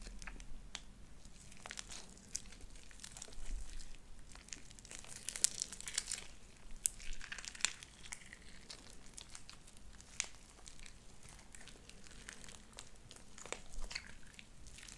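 Light-blue sticky slime with white beads is squeezed in a fist and stretched between hands. It gives a steady run of bright, wet crackling and popping with many quick sharp clicks over a low, constant background rumble. There are louder bursts of dense crinkling in the middle of the clip.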